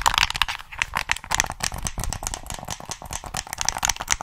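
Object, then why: Plastic game controller. Fingertips tap the shell and press the buttons of a hollow black plastic PS3 controller held in both hands. The result is a rapid, continuous run of dry, bright clicks and plastic rattles with almost no ring after each tap.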